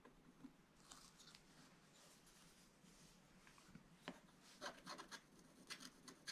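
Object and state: Scratch-art paper scratched with wooden stylus.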